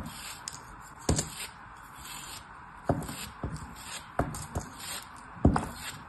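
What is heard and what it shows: A small solid chunk of beige kinetic sand, held in the fingers, is sliced repeatedly with a small blade. Each cut gives a soft, short, low thump followed by a brief gritty scrape and crumble. A faint steady hiss fills the quiet between cuts.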